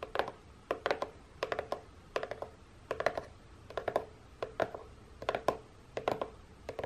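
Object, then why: Corrugated cardboard box tapped with fingernails. Long painted nails tap a hollow, printed corrugated cardboard box close-up at its end flap. The sound is quick clusters of light, dry clicks with a papery midrange around 650 Hz, repeating in steady bursts about every 0.7 seconds, and each click dies away almost instantly.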